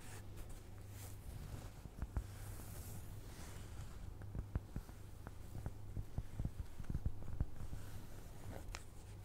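Fingernails slowly scratch across the surface of a round, flat, solid cork trivet. The quiet, dry scraping is broken by soft, short ticks and sits over a steady low hum.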